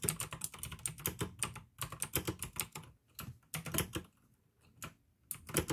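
Fingertips type fast on the keycaps of a full-size pink plastic AUKEY mechanical keyboard with RGB backlight, clicky blue switches and a hollow case. Rapid bursts of sharp, bright clicks ride over a low, hollow clack, with short pauses between runs of typing.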